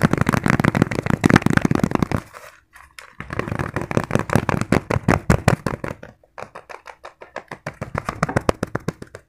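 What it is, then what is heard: Fabric zipper pouch. Fingertips tap a small, padded green fabric pencil case with a zipper very fast, producing a rapid run of soft, dull, low thuds with almost no ring. The tapping comes in three fast bursts separated by two brief pauses, with dozens of quick hits in all.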